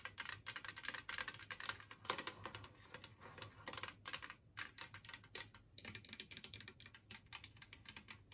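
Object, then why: Glazed ceramic plate. Long nails tap fast across a large, flat, empty green glazed ceramic Christmas tree plate resting on a table. The rapid, uneven bursts of bright, dry clicks have almost no ring, with brief pauses between runs and very little low end.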